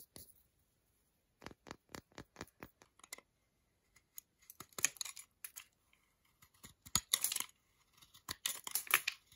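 A metal utility knife blade scrapes and taps a segmented solid milk chocolate bar held in the hand. A quick, even run of sharp, dry clicks is followed by denser bursts of bright, crackly scraping. Each hit stops almost instantly, with brief silences between.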